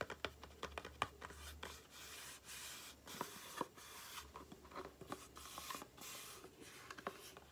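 A small, hollow, rectangular cardboard aloe face cream box, held upright, is tapped rapidly with long painted nails and fingertips. The result is a quiet, uneven string of sharp, dry clicks with soft scratchy rustling between them.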